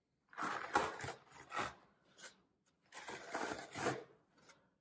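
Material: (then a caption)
Floral foam. Both hands press and crush the surface of a solid green floral foam brick resting on a table, squeezing it with fingertips and thumbs before the block is turned over to show its printed side. The result is a series of dry, crunchy crackling bursts in the midrange with a bright hiss, arriving in two main clusters separated by short quiet gaps and fading quickly after each squeeze.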